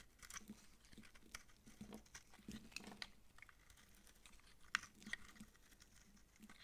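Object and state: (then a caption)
Dry soap bar scraped with a blade. A utility knife blade scrapes thin shavings from a round, palm-sized, dry yellow massage soap bar with dark specks, held in the palm. Quiet, irregular crunchy scraping strokes repeat throughout, with a few sharper bright clicks that stop almost instantly.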